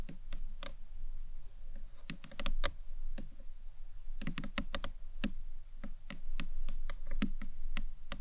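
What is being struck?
Small acrylic box clutch.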